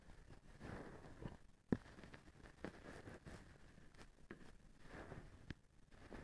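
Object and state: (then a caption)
Plastic feather duster. A small wooden stick scratches the strand bundle of a blue plastic feather duster held by its white handle. It makes quiet, low, soft rustling and scraping, broken by a few short, sharp ticks.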